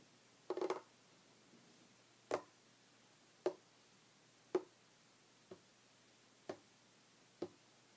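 Short red fingernails and fingertips tap on a solid, flat, light wooden tabletop. A quick flurry of taps opens the clip, followed by six separate, evenly spaced taps. Each is a dry, hollow knock centered around 370 Hz that dies away almost instantly.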